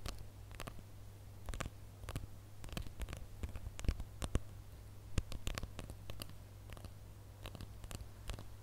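Fingernails scratch and tap the rough, glitter-coated surface of a flat, hand-sized gold plastic star ornament with a bow on top. Quick, dry clicks and scrapes repeat over a steady low hum, each one sharp and short with a bright edge.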